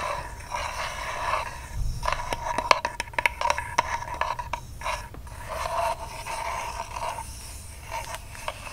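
Long nails scratch the flat cardboard end disc of a ribbon spool held in the hands, making a dry, papery rasp. It breaks into a run of sharp, quick taps in the middle, then returns to steady scratching.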